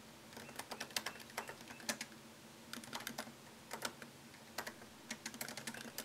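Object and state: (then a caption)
Laptop keyboard, plastic keys in aluminum body. Fingertips type on a MacBook Pro keyboard, tapping its low-profile plastic keys set in a thin solid aluminum chassis. Quick, bright clicks come in uneven bursts with short pauses between, each tap dying away almost at once over a faint low hum.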